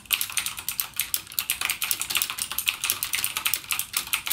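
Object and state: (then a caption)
Plastic mechanical keyboard with clicky switches. Fingertips type continuously on a full-size backlit mechanical gaming keyboard with plastic keycaps and clicky Cherry MX Blue switches. About 33 rapid, sharp keystrokes come through as bright, high clicks with almost no low end. Each click dies away almost instantly, making a steady, brisk patter.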